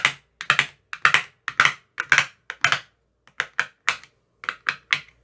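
A thin metal rod taps into the cells of an empty clear plastic ice cube tray with green silicone cell bottoms. About 20 short, bright, clicky taps come in uneven bursts, often in quick pairs or triples, with a brief pause midway. Each tap is sharp, centered around 1.6 kHz with almost no low end, and dies away almost instantly.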